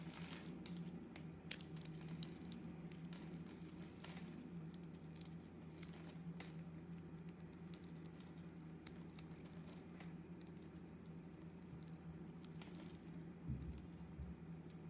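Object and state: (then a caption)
Bar soap being carved. A metal razor blade carves and scrapes the surface of a solid sage-green bar of soap, with chips falling off. The result is a quiet, continuous stream of soft scratchy crackles and tiny bright ticks over a steady low hum. A couple of slightly louder scrapes stand out near the start and near the end.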